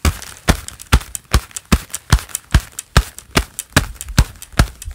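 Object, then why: Gloved hands, leather gloves. A pair of black leather gloves worn on both hands clap and rub together, giving crinkling leather sounds. Sharp claps with a low thump and a bright crackle repeat at a fairly steady pace, about two to three per second, with soft rustling and rubbing in between.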